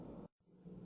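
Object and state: Nothing is struck.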